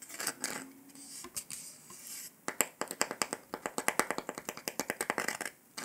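Fingertips and nails tap and scratch the surface of a round, flat, golden dalgona honeycomb sugar candy disc, solid and brittle. Soft, airy scratching gives way to a rapid series of sharp, bright clicking taps that die away almost instantly, with little low end.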